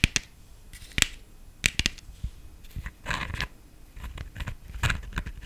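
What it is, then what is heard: Hollow plastic decorative pumpkin. Long nails tap and scratch the stem and top of a black, glittered, hollow plastic decorative pumpkin. Sharp, bright clicks and taps are heard, mixed with brief rustling scratches. The sound is crisp, dry, and quickly fading.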